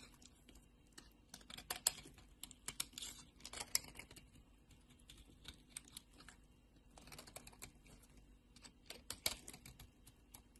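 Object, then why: Bar of soap scraped with a metal blade. A solid, palm-sized lavender bar soap is held in a hand with long painted nails and scraped and shaved with a metal utility blade as shavings pile up. The sound is a quiet run of soft, bright, crisp scraping ticks that come in irregular bursts with brief pauses between them.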